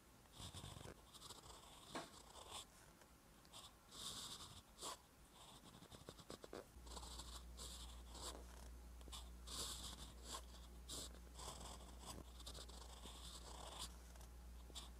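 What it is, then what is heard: Metal pen nib writing on paper. A metal fountain pen nib scratches continuously across a flat, lined paper notebook page while writing Korean letters. Bright, dry scratching comes in short strokes and bursts, and from about 7 seconds a steady low hum sits underneath.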